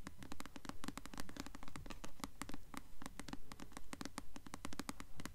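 A blue paperback novel, "Delirium," with a solid glossy paper cover is held upright and its cover is tapped and scratched with long nails. Quick, crisp, bright clicks and scratches come in a steady, rapid rhythm over a low, dull rumble. Each tap dies away almost at once.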